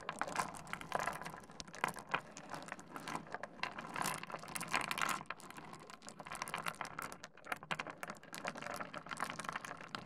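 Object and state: Small stone pebbles on a wooden desk.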